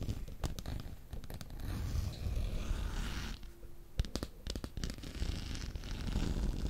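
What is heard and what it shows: Fingernails scratch and tap along the long, hollow black plastic handle of an electric fly swatter held close to the microphone. A dense, low, rumbling scrape is heard throughout, broken by sharp, dry taps with bright clicking edges that stop almost instantly.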